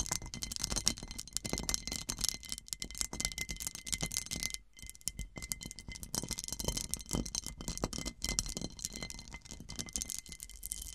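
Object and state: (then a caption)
Cut glass serving dish. Long dark nails scratch and tap across the faceted surface of a large, round cut-glass serving dish that sits upside down and hollow. The result is a dense, bright, rattling patter of quick clicks and scrapes with very little ring, over a faint steady tone near 2 kHz. There is a brief pause just before the five-second mark before the scratching picks up again.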